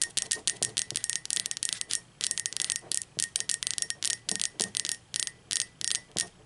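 Long, pointed acrylic nails tap on the outer wall of a hollow, upright, speckled teal ceramic mug. There are 27 quick, bright clicks in irregular bursts, each with a very short ring that sits mostly in the high frequencies. A faint tone hovers near 2 kHz.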